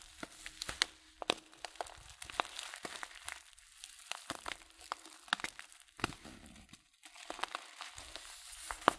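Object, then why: Filled paper tea packet. A thumb rubs and crinkles the back of a filled paper loose-leaf tea packet, slowly and softly. It makes a steady bright rustle broken by many sharp, dry crackles and a few brief pauses, with almost no low end and no ring after each crackle.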